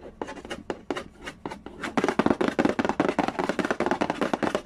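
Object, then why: Cardboard board game box. Fingertips trace and scratch across the glossy lid of a hollow cardboard Candy Land board game box resting on a wooden floor. Quick, dry scratchy strokes start sparse and soft, then grow denser and louder after about two seconds, each with a bright papery hiss and almost no ring.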